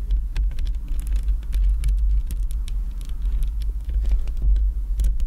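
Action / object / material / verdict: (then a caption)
tap / metal mesh microphone grille tapped with acrylic nails / metal mesh / none. Long acrylic nails on both hands tap and scratch the surface of a hollow black metal mesh microphone grille. The result is a steady low, throbbing rumble around 70 Hz under many quick, bright clicks and scratches.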